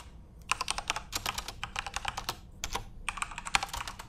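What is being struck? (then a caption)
Plastic keyboard keys. Fingertips return to the keys of a backlit plastic Corsair RGB mechanical keyboard and type in quick bursts. The clip has bright, dry clacks with almost no ring, a brief pause near the middle, and then the typing resumes.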